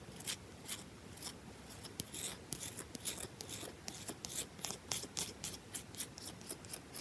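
Long nails rapidly scratch and tap a carved, solid bar of soap with a V notch, held in the hand. About twenty quick, bright, scraping clicks and taps come in a fast, uneven rhythm over a soft, raspy hiss. The whole clip stays quiet and close.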